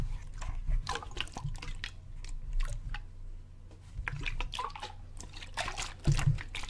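A clear plastic water bottle with a gray cap, partly filled with water, is held up, tilted and shaken so the water sloshes inside. The result is a run of wet, gurgling sloshes and bright dripping splashes over a low, muffled rumble, swelling and fading with the movement and peaking in a louder slosh near the end.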